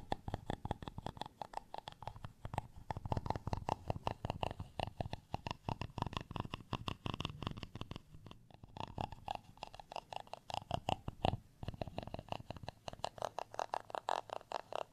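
A black round-tipped tool is scratched rapidly back and forth across a flat, solid, textured beige plastic rice paddle. The result is a dense, steady run of short, dry rasping strokes with a mid-range tone around 700 Hz, pausing briefly just past the midpoint before continuing.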